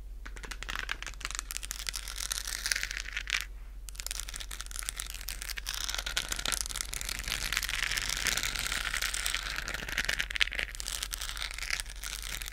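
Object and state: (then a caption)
Plastic sphere lamp scratched. A hollow, lit, textured plastic galaxy moon lamp is tapped and scratched up close with long acrylic nails. Dense, bright crinkly scratching and quick clicky taps run almost continuously, with a brief quiet gap and a steady low hum underneath.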